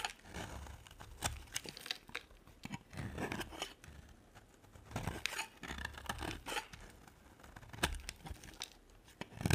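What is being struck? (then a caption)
Bar of soap. A thin, solid pink striped bar of soap is shaved with a utility knife blade, letting curls of soap fall away. Dry, crisp scraping strokes come in repeated bursts, with sharp bright ticks and soft low thuds between them.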